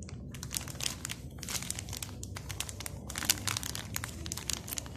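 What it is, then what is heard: Plastic cookie mix packet. A hand-sized, sealed plastic packet of Morrisons triple chocolate cookie mix, full of dry mix, is held in both hands and turned, squeezed and rubbed with fingertips. It gives a steady stream of bright, crisp crinkling bursts over a low rumbling background.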